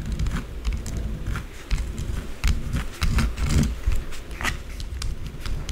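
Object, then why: Small bar of soap and acrylic fingernails. Long blue acrylic nails scratch and tap quickly and irregularly on a small solid white bar of soap. The result is a dense, low, rumbling scrape broken by short, bright, crackly clicks.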